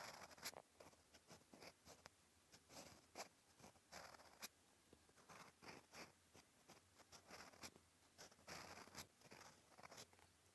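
A steel fountain pen nib scratches across a flat, cream-colored lined paper notebook page while writing Korean characters. Quiet, bright, dry scratching strokes come in short bursts with brief pauses between them, over a faint low hum.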